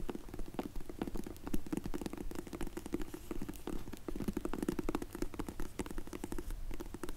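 Long nails rapidly tap and scratch on a closed, dark grey faux leather hard case for Zinff sunglasses held in the hands. The result is a quick, uneven stream of soft, dull clicks mixed with a low, muffled rasp of scraping.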